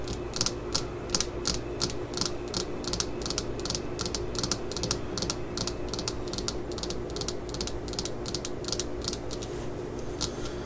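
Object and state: Fiberglass hammer handle tapped with nails.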